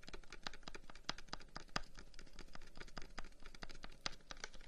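A long, hollow wooden incense box with carved flower-pattern holes is held in the hands and tapped rapidly with the fingertips. The result is a quiet, steady stream of short, dry clicks and taps with a hollow woody tone and bright, crisp edges, each dying away almost at once.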